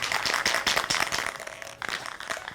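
A metal can of matte black spray paint is shaken before painting a jib crane, and the loose mixing marble inside rattles in quick, bright metallic clicks with almost no low end. The rattling is strongest in the first second and a half, then softens, with a brief burst near the end. The free-rattling marble shows the ball is loose and the paint is being mixed properly.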